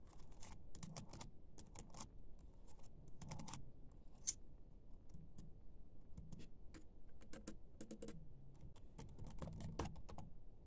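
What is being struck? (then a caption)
Plastic laptop keyboard. Fingertips and nails tap and type on a laptop keyboard with black plastic keys, the hand partly moving away at the start. Quick, dry plastic clicks come in uneven bursts over a soft, low thumpy rustle, with brief bright ticks from the nails and one sharper, high click near the middle. Each click dies almost at once, leaving a steady patter of quiet typing.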